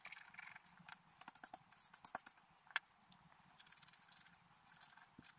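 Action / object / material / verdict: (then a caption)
scrape / coated scratch art paper card scraped with a wooden stylus / coated paper / none. A pointed wooden stylus scratches a flat, black-coated scratch art paper sheet, about A5, lying on a table and held down by one hand, to reveal a deer picture underneath. Quick, dry, bright scraping strokes come in irregular bursts with brief pauses, each stroke short with no ring. The sound stays quiet and thin, with almost no low end.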